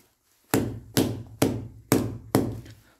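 A molded, impact-resistant extension-cord power socket is banged against a wall five times, giving dull, short thuds with a low body and little high ring. The socket comes through undamaged and only needs a quick wipe of dirt afterward.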